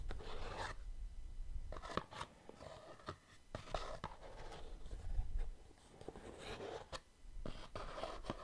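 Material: Cardboard.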